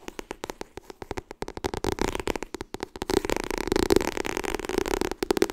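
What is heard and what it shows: Fingernails tap quickly on the cover and edges of a white softcover "Getting Things Done" paperback book. The taps start as distinct dry clicks and then speed up into a dense, continuous patter. Each tap has a muted papery tone around 375 Hz that dies almost instantly.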